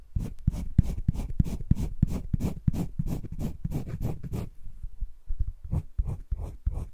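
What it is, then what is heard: Pencil shading on sketchbook paper. A green wooden colored pencil, held in the fingertips, scratches and shades across a flat sheet of drawing paper in a spiral-bound sketchbook. Quick, uneven strokes rasp in a steady rhythm with a low, soft body, pause briefly, then resume.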